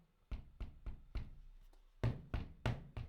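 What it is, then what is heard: Running shoe with a loud, clacky sole. Eight sharp, heavy knocks from the foam sole of an Adidas Supernova Prima running shoe, each a deep, dull thud with a brief bright click on top and a short decay. The sole is quite loud, like walking in high heels, which is its one annoying flaw.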